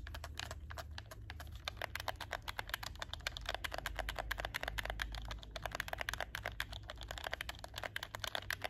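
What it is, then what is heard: Plastic game controller being clicked. A hollow black plastic PS4 game controller is held up close while fingertips rapidly click its shoulder buttons and triggers and tap its plastic shell. The result is a quick, steady stream of short, dry, bright plastic clicks and taps over a faint low hum.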